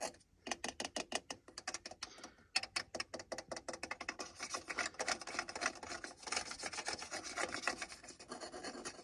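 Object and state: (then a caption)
Plastic car dashboard control panel. Fingertips scratch a car's hard plastic center console radio and climate panel with its buttons, then grip and turn its round knob. A rapid series of short, dry, bright scraping strokes starts out distinct and grows into a dense, continuous rasping texture.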